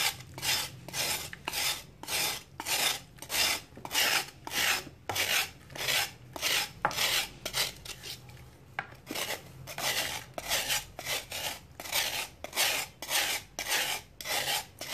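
A long metal knife shaves a solid, hand-sized chunk of dried sand-cement over a water tub, producing about thirty bright, rasping scrapes in a steady rhythm. A brief quieter pause comes midway before the strokes resume.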